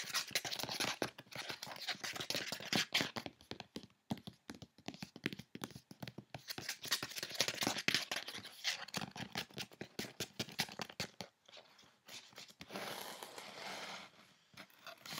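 Long nails rapidly scratch and tap the side panel of a closed, hollow brown corrugated cardboard box whose contents are not visible, then the hands come to rest on its top. The sound is a dense run of dry, bright scratches and quick taps with almost no low end and no ring. Near the end it turns into a steadier, hissy rub before fading.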